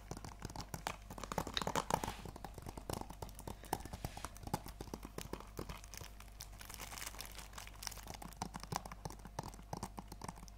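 A hand-sized, hollow plastic PS4 game case for Planet Coaster, still sealed in its cellophane shrink wrap, is held in both hands and tapped and scratched with long acrylic nails. Rapid, clicky, typing-like taps run throughout, with some crinkling of the wrap.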